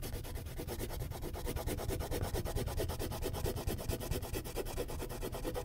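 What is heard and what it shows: A purple wax crayon shades a large area of a thin white paper sheet resting on a clipboard in broad back-and-forth strokes. A steady, rhythmic scratchy rubbing runs throughout at roughly two strokes per second, with a soft low body and only faint bright grit.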